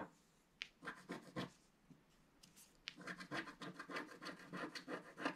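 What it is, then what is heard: Scratch-art paper card. A wooden stylus scratches a flat, roughly A4 scratch-art mandala page from a book, scraping away its black coating to reveal colour underneath, while a flat palm and fingertips rub and sweep away the loose flakes. The sound is a quiet, irregular run of short, dry, bright scratching strokes mixed with soft rubbing swishes, busier and denser in the second half.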